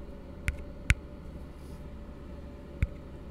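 An empty, hollow blue plastic tumbler held upside down is scratched and tapped with fingertips. Three short, dull taps land over a low, steady hum, each with a bright click on top and dying away almost at once.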